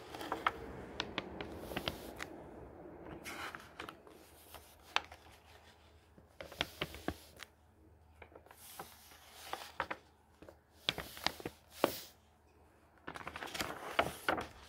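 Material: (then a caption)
Paper. A flat hand rubs across the paper pages of a thick hardcover book, then fingers pinch and turn a page. Soft, dry brushing is broken by many short, crisp ticks and bright paper swishes, with louder rustling bursts as the page lifts and turns.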